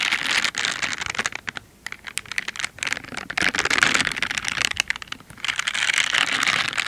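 Pink silicone dish gloves with bristle pads, worn on both hands, are rubbed together and their fingers scratched against each other. The result is a dense, bright, crackly scratching and bristling texture in quick irregular bursts, broken by a few short pauses.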